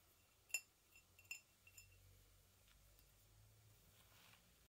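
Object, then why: Ceramic mug. A hollow white ceramic mug is tapped with fingernails, briefly lifted, then set back down on a blanket. A few quick, bright clinks ring near 2.7 kHz and die away almost instantly. After that there is only a faint, soft rustle.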